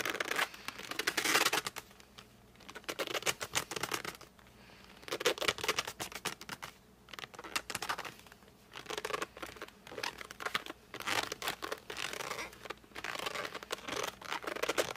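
Fingertips press, grip and rub the glossy front of a flat cardboard colored pencil box. Bursts of bright, squeaky, scratchy friction come in rapid crackling clusters, separated by short quiet pauses.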